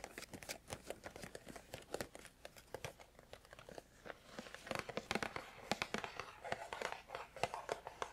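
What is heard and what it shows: A small, hollow, rectangular printed cardboard herbal tea sampler box is held in one hand and tapped with fingertips and nails on its sides and front. The result is a quick, irregular run of light, dry taps and clicks with a faint papery crinkle. The tapping grows denser and slightly louder in the second half.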